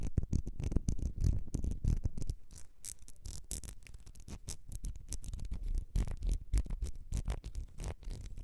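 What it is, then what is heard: Ribbed glass perfume bottle. Long red nails scratch the ribbed glass of a small, partly filled perfume bottle with a gold cap. The result is a rapid, irregular run of dry scratching strokes and clicks with a heavy, low-weighted thump beneath them. The strokes keep going without pause, fading a little in the middle before picking up again.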